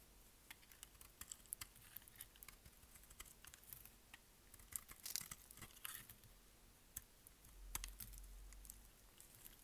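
A solid, dry, green oval bar of soap is held in the hand while a utility blade scrapes and shaves across its face. Quiet, bright scraping and crisp crackles pop up in short, sharp bursts with brief loud spikes, over a low background rumble.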